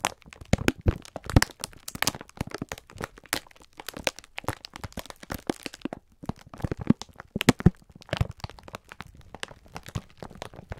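A clear plastic-film pack of sponge scourers is held in both hands while the fingertips squeeze and rub it. The result is a dense run of sharp crinkling crackles spread across the whole clip, with a soft low body under bright, snappy clicks. Brief quieter gaps break the crackling, notably around the six-second mark.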